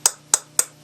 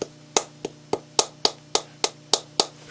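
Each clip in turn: First: Quick, sharp, high taps that die almost at once: a light plastic-bodied lacquer bowl rather than wood. Second: About nine quick, dry taps with a dead-short decay: a real wooden lacquer bowl, not plastic.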